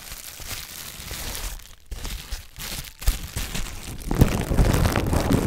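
A sheet of clear plastic bubble wrap with air-filled bubbles is held in front of a microphone while long red-painted nails and fingertips pinch, press and scratch it. Steady crinkling and bright scratching run throughout, broken by sharp pops as bubbles burst. The sound grows fuller and louder in the last second and a half.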